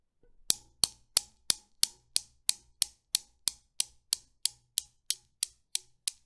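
A long-nailed finger pulls back an end ball of a desktop Newton's cradle and releases it, and the solid chrome steel balls knock together. Eighteen sharp, bright metallic clicks follow at a steady rhythm, each ending almost instantly and fading slightly toward the end.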